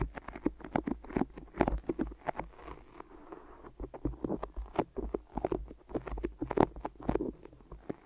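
Long nails and fingertips grip and tap on white adhesive tape wrapped over both ears of a microphone. The result is a quick, irregular sticky patter of short, dry taps and peels with little ring and a soft low-mid body.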